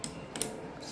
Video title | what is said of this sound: [아크릴연장] 셀프연장 이것만 알면 끝!! 하모니샘플키트로 연장하기/ 아크릴재료 언박싱How to; Acrylic Nails | 맑은 소리가 나면 충분하게 드라이가 된 상태입니다